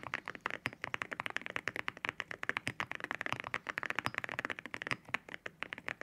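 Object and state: Mechanical keyboard with ceramic keycaps.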